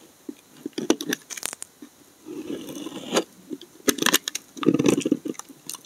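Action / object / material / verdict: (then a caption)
scrape / laundry soap bar scraped with a steel blade / soap / none. A solid bar of brown laundry soap, held in the hand, has curled shavings cut and scraped from its edges with a steel utility blade. The clip has a series of short, crisp cuts and scrapes with bright, clicky snaps, and longer waxy scraping passes in between. The shavings come off in dense, crunchy bursts.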